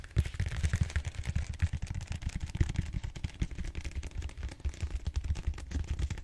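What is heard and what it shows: Fingertips tap and scratch the surface of a large purple solid styrofoam foam roller held upright. The result is a dense stream of quick, dull low thumps with a faint, brighter scratchy rustle over the top. It continues steadily throughout.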